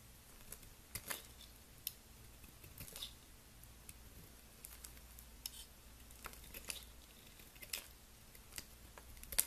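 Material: Soap.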